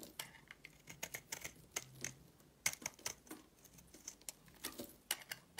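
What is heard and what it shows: A solid purple soap bar held in the hand is scraped with a utility blade, giving a quiet, rapid series of short, crisp scratching clicks. The sound is bright and dry with almost no low end. Each stroke cuts off almost instantly.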